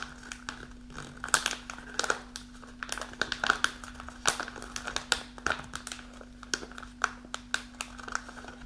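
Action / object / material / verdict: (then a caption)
scrape / kraft paper pouch / paper / none. Long nails rub and scratch across the front of a kraft paper snack pouch held upright and partly full, making dry, bright crinkling with quick irregular scratchy bursts. A faint steady low hum sits underneath throughout.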